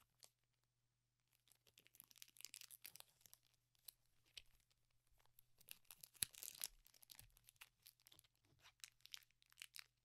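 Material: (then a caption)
Metallized plastic. A small metallized plastic Pokémon booster pack wrapper, sealed with cards inside, is held over a cloth bedspread while fingertips fold, crinkle and begin tearing the foil. Quiet, bright crinkles and sharp crackles come in scattered bursts, with a denser ripping stretch in the middle and a steady faint low hum underneath.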